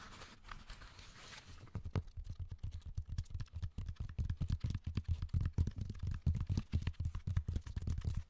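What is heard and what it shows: A raw cork bark slab held upright next to the mic is tapped and scratched with the fingernails of both hands on its rough bark. Soft, hissy scratching opens the clip, then gives way to a dense, irregular run of quick, dull taps with deep, low thumps and almost no ring.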